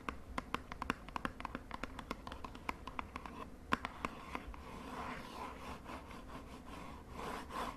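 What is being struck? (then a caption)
Small cardboard cosmetic box. Long nails tap rapidly on the face of a small, hollow purple cardboard cosmetic box held in one hand. A quick run of sharp, dry clicks carries a hollow ringing tone around 1 kHz, then gives way to a softer, continuous scratching rustle toward the end.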